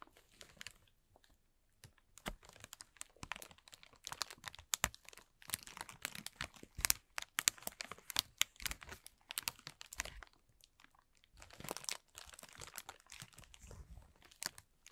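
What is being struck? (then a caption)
Thin plastic film bag. A thin, transparent plastic film bag lies crumpled and is rubbed and pressed with the fingertips and flat fingers of both hands. It gives off quiet, bright crinkling and sharp little crackles in dense bursts, broken by short near-silent pauses.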